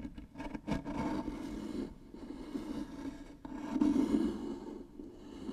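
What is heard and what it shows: Long nails scratch and rasp along the grooved surface of a light, likely hollow wooden box. The result is a dry, scratchy rasp with a hollow midrange tone around 300 Hz, coming in uneven waves of strokes that swell loudest near the four-second mark before easing off.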